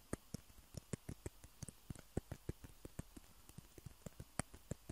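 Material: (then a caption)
Plastic. Fingernails tap and scratch the surfaces of two small hollow white plastic table tennis balls, one held in each hand. About nineteen quiet, dry, irregularly spaced taps are heard, each a soft low thump with a faint bright click that dies away instantly with no ring.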